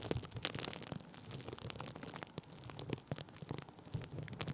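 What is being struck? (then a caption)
Thin plastic bubble wrap. Thin clear plastic bubble wrap laid over a microphone is pressed and rubbed with a wooden stick, giving a steady run of soft crackles, rustles and small pops. Dull low thumps sit under the bright, crinkly texture, and no sound rings on after each touch.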